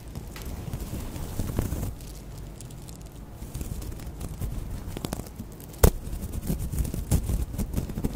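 The dangling straw tassel of a woven natural raffia/straw crochet bag, held up close to the microphone, is handled, rubbed and scratched with long acrylic nails and fingertips. It makes a dry, crackly rustle of fibrous strands over a low, muffled rumble, with one sharper scratch about two-thirds of the way through.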